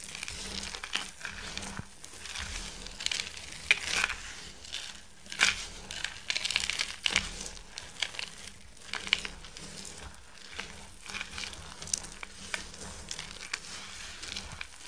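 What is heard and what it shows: Both bare hands press, rub and crush a large heap of crumbled, dry, multicoloured bar soap shavings (white, green, yellow and pink) resting on a white surface. Their fingertips work the loose solid crumbs. The result is a steady, bright, dry crinkling and crunching, broken by many short, sharp crackles that swell louder at each firmer squeeze.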